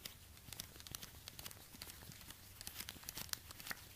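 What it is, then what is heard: Suede ankle boot. Orange rubber-gloved fingertips tap and scratch a black suede high-heel ankle boot, working over the suede and the sole while the boot is held up in the hands. The result is a steady run of quiet, dry scratching and crinkly rustling with many small, bright clicks and taps. There is no ringing.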